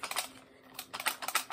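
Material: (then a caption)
Metal. An M1 Garand rifle with its WWII cleaning kit packed snugly into the wooden buttstock with a patch is shaken. This produces a series of light, bright clicking rattles with a quiet pause in the middle. The rattle comes from the loose sling, while the packed cleaning kit stays held tight and no longer rattles.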